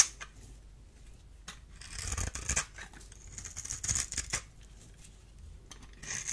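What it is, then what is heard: Bar soap being scraped. A solid, dry, oval purple bar of soap held in the hand is scored in a grid and scraped with a small metal blade. The result is bright, crisp scratching and crunching that rises into louder bursts, with sharp clicks between the strokes.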